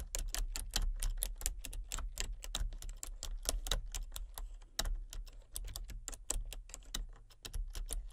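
Long fingernails tap rapidly across a full-size, hollow-bodied plastic computer keyboard with color-changing backlit keys. Dozens of sharp, bright clicks follow each other quickly over a steady low hum.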